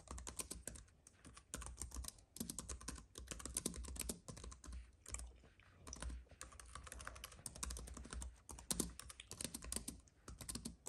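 A slim white wireless keyboard with plastic keys on a silver aluminum base, lying on a dark fabric mat, is typed on steadily by both hands with the fingertips tapping the keys. Fast, dense runs of crisp, bright key clicks with soft low thuds stop almost instantly, coming in bursts separated by brief pauses.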